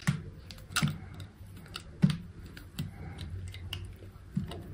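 A small solid pink soap bar, held in fingers with long pink nails, has thin slices shaved off with a utility knife blade. It makes a series of soft, dull scraping cuts with crisp, brief clicks that die away almost at once. The sound is quiet and low-heavy, with faint bright edges on each stroke.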